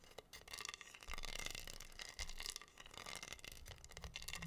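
Fingertips and nails rub and scratch over a flat, solid wooden heart board covered in pink acrylic rhinestones. The result is a continuous, bright, crackly scratching texture with a steady run of small clicks and rasps. Louder swells of rubbing are heard near the middle of the clip.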